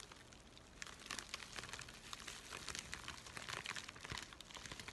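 A thin, empty white USPS paper mailing envelope is folded and crinkled in both hands while fingertips scratch across it. The result is a soft, steady stream of bright, dry crinkles and scratchy rustles, with brief louder crackling bursts over a quiet, low background.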